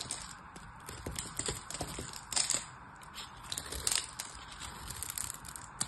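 A solid purple bar of soap, held in one hand, has its scored surface cut with a craft knife so cubes and flakes break off. Quick, bright crackling and crunchy scraping sounds come in irregular bursts, with a few sharper snaps standing out.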